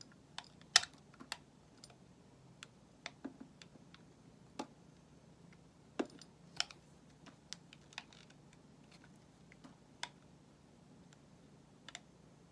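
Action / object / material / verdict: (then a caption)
scrape / bar of soap cut with a metal blade / soap / none. A solid white bar of soap held in the hand is shaved with a metal utility knife blade. Each stroke gives a short, crisp, bright scraping click, with irregular gaps between strokes over a quiet background. The clicks stop almost instantly, with no ring after them.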